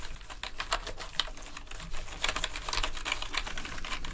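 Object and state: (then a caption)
Plastic keyboard being brushed. Gloved hands scrub a green toothbrush over and between the hollow plastic keycaps of a full-size black plastic gaming keyboard. The result is a steady, bright bristly scratching broken by quick, dry rattles and clicks as the loose keys knock in place, with a faint low rumble underneath.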